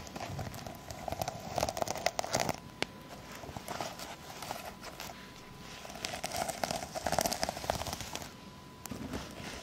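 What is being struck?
Plastic sequin-covered fabric pouch scratched by long nails.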